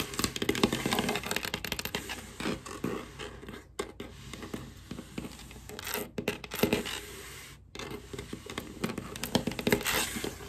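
Long black acrylic nails with googly eyes glued on tap and scratch across a large solid wooden tabletop, with a small white item under the fingers. Dense, rapid scratching and clicking taps make a crackly, tearing-like texture with bright edges and a low woody body. Brief near-silent pauses break it up before the busy tapping resumes.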